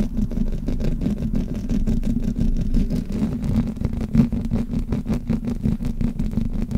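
Both hands rub and scratch the hollow metal mesh grille of a black Blue Yeti microphone with fingers and long nails. The result is a continuous, dense, low-heavy rumbling scrape made of rapid strokes, with a steady mid-low tonal band around 240 Hz running underneath.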